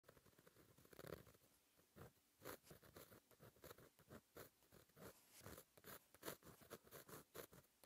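A plastic gel pen with a fine metal tip writes Korean cursive on a flat sheet of black lined paper in a notebook resting on a solid surface. Short dry scratching strokes and soft taps come in quick, uneven bursts with brief pauses between them. The sound is quiet and close, with no ring after each stroke.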